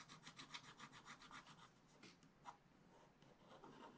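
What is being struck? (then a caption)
Coated scratch-art paper page scratched with a wooden stylus. A wooden stylus scratches the black coating off a scratch-art paper page in a spiral book, with the hand held close to the page. About ten quick, rhythmic, bright rasping strokes come first. Sparser strokes follow, with a sharper one near the middle, and the clip ends in softer, steadier scraping, all at a quiet level.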